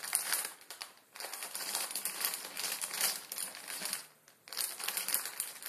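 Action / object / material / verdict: scrape / plastic instant noodle packet / plastic film / none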